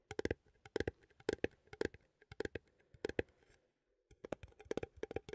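A small cylindrical metal coffee tin, held in both hands, is tapped with fingertips and nails on its lid and side. About 23 quick, dry taps with a hollow tone near 460 Hz and bright clicky edges come in uneven clusters, with a brief pause near the four-second mark before the tapping resumes.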